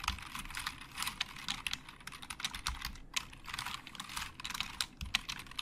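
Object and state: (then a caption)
Plastic computer keyboard being typed on. Both hands type with their fingertips on a black plastic Logitech keyboard with hollow plastic keys. A steady run of quick, dry clicks and clatter sounds bright and high, with very little low end, and each keystroke dies away almost instantly.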